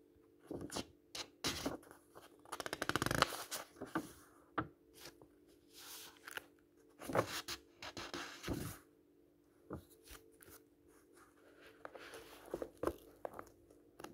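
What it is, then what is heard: Paperback book pages being turned. A hand lifts and flips the thin uncoated paper pages of an open paperback book one by one. Each turn gives a crisp, dry rustle and flick, some with a bright papery snap. A faint steady low hum sits underneath.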